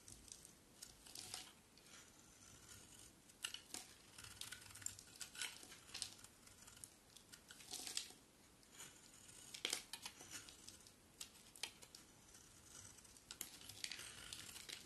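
A solid white bar of soap held in the hand is scraped and shaved with a utility knife blade. Dry, crisp scraping and crinkly shaving strokes come in irregular bursts, bright and thin with almost no low end, over a faint steady hiss between strokes.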